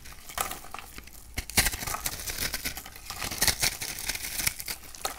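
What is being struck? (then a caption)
Bar of soap scraped with a metal knife. A metal knife blade scrapes and cuts a hand-sized, dry, purple and pink bar of soap held in the palm, breaking it into crumbly pieces. Dense, bright, crisp crackling and crunching scrapes come in quick bursts, with sharper crunches around the middle and later in the clip. The short, dry sounds die away almost at once.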